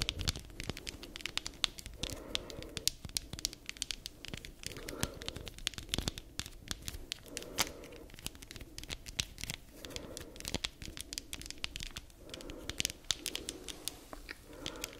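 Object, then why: Spiky rubber massage ball. Long nails scratch across the spikes of a palm-sized black spiky rubber massage ball. The result is a dense, bright, crackly scratching with sharp clicks, swelling every couple of seconds into a lower, rougher rasp.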